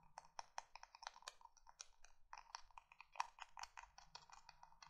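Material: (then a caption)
Emery board. Long nails tap and scratch the gritty surface of a small, flat, marbled-print emery board nail file held in the hands. The result is a quiet, rapid run of dry, clicky taps and short scratchy strokes, centered in the midrange with a bright, gritty edge and almost no ring.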